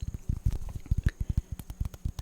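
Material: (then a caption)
Pumpkin rind. A small round pumpkin, the second contestant in a tap-off, is tapped in a quick run of about 14 soft, hollow thumps. The taps are deep and dull, nearly all below 200 Hz, and each dies away almost at once. The resulting sound is judged lovely.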